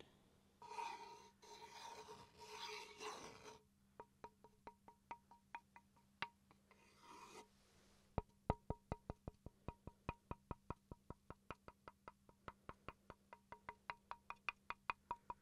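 A small solid wooden chopping board, held in one hand, is scratched with the tip of a wooden pencil in a bright rasping burst, then tapped about 39 times in short, dry, woody clicks. A second brief scratch breaks up the taps, which then speed up into a steady, even run. A faint low hum sits underneath throughout.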